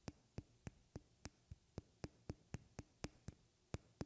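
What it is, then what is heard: Tapped glass. A glass object is tapped near the microphone with hard and soft strikes, in a steady series of about fifteen separate clinks. Each tap is a short, bright glassy click with a thin high ping and a dull low knock, dying away almost at once. The hits vary slightly in strength over a quiet background.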